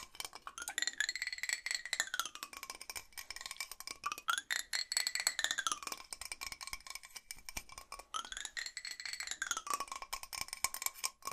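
Fingernails tap quickly on the bottom and sides of a large, hollow blue metal drinking bottle as it is turned in the hands. The dense, short, dry clicks sound bright, with a hollow tone that slides up and down in pitch three times as the bottle turns.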